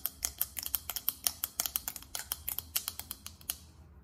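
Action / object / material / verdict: tap / small faceted glass perfume bottle / glass / none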